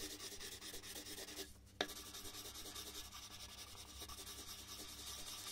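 A red colored pencil shades a large white paper sheet, slightly angled on a wooden desk, with continuous rubbing strokes. A steady, bright, scratchy rub pulses with each stroke, breaks off briefly for a quiet moment, resumes with a sharp tick, and then carries on evenly to the end.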